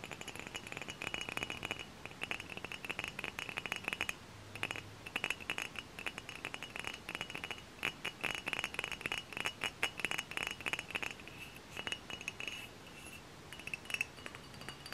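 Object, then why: Dark glass cider bottle. Long fingernails tap rapidly on a tall, hollow, dark glass hard cider bottle with a paper label, held in the hand. Many quick, light clicks come in dense, uneven bursts, each with a bright glassy ping near 2.7 kHz that dies away almost at once.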